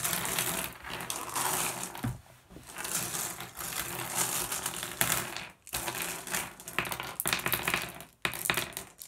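Hands sweep and scoop small solid blue glass gem pebbles across a wooden surface, making the gems clack together. The result is a dense, bright rattle of overlapping clicks, broken by brief pauses around 2, 5.6 and 8 seconds.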